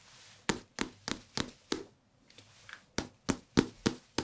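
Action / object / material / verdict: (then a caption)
tap / small hardcover paper book / paper / none. A small, thick hardcover paper book with a glossy photo cover, solid and held in both hands close to the microphones, is tapped on its cover and edges with fingertips. Twelve short, dry taps are heard: five clear knocks, two faint softer ones after a brief pause, then five more crisp taps, each with a low thump and a bright click that die away almost instantly.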